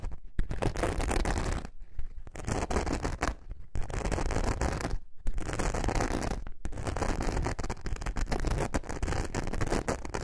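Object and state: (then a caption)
Glitter foam craft sheet being scratched. Long nails scratch the glittery surface of a thin, flexible glitter foam craft sheet held in a curve. The result is dense, rough, continuous scratching in bursts of about one to two seconds, separated by brief silent pauses, with a heavy low-end rumble under the gritty texture.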